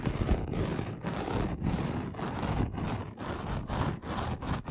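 A flat, roughly A4-sized gold and red chunky glitter sheet lying on a dark cloth is scratched fast across its coarse surface with the short nails and fingertips of both hands. The result is a dense, low, rumbling scrape that comes in about ten quick bursts separated by brief dips.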